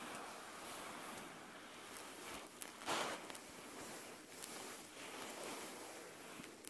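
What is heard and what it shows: Fingertips and long nails scratch and rub the soft white plush fabric back of an eye mask lying on a table. A steady, quiet, hissy rustle fills the clip, with a brighter, louder scraping burst near the three-second mark and a few faint sharp flicks.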